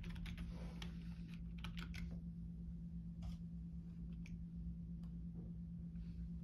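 Fingertips press the hollow key caps of a full-size black plastic Logitech keyboard resting on a desk, making light, bright typing taps across the keys. The taps sit over a steady low hum that dominates the quiet recording.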